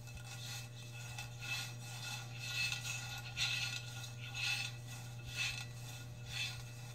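A metal cup is scratched close up with long red fingernails, giving repeated bright, raspy scrapes that swell and fade about once a second with a faint ringing tone near 2.6 kHz. A steady low hum runs underneath throughout.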